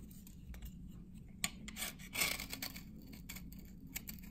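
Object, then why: Glycerin soap bar scraped with a metal blade. A dry, translucent amber glycerin soap bar from 1978, held in the hand, is scraped with a metal blade that has a red handle, and curls of soap build up on the blade. The scraping gives short, bright, dry rasps and crackles over a steady low hum, with louder scrapes standing out near the middle of the clip.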